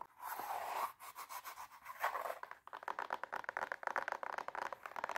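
Long nails scratch the silver glitter fabric upper of an empty, hollow high heel pump with a black sole and heel, making a dry, rasping scrape centered in the midrange with a bright hiss. After a short pause, the nails tap quickly on the sole in a fast series of short, crisp clicks with almost no ring.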